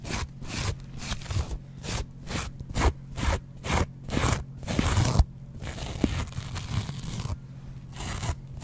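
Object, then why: Foam kitchen sponge with scouring pad. A small rectangular yellow polyurethane foam sponge with a green abrasive scouring layer is held in one hand close to the microphone while its surface is scraped and scratched with a double-edge metal razor blade held in the other hand. Quick, bright rasping strokes come in a steady rhythm at first, then blur into a softer, continuous scratching over a low rumble.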